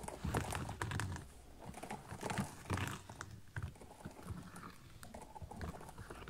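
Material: Synthetic leather.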